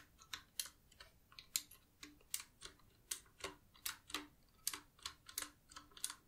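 Fingers with long nails, some in black sleeves, type rapidly with both hands on a black, desk-sized, typewriter-style Qwerkywriter S mechanical keyboard with round plastic keycaps on a solid body. About nineteen quick, quiet, bright clicky key taps are heard, each dying away almost instantly, with a faint low click under some strokes.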